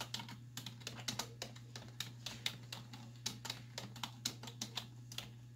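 Both hands with long white nails type on a black plastic desktop keyboard with hollow keys, striking with fingertips and nail tips. About 25 quick, bright clicks and taps with almost no ring sit over a steady low hum.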